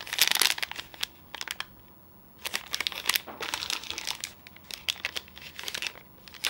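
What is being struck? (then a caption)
Plastic foil snack bar wrapper. A sealed, full red Outright protein bar in a flexible plastic/foil wrapper is held in both hands and squeezed and crinkled with the fingertips. Bright, crackly crinkling comes in bursts, with a quiet pause near the two-second mark before the crinkling resumes.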